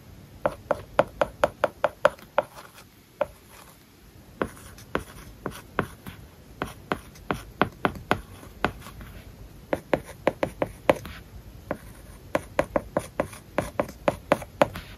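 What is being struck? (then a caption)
Stylus on a glass tablet screen covered with matte plastic film. A plastic stylus writes English and Japanese words on a large iPad whose glass screen is covered with a matte plastic paper-like film. Quick, dry tapping and scratchy strokes come in bursts, with short pauses between groups. Each tap is short and clicky with a mid-pitched tone.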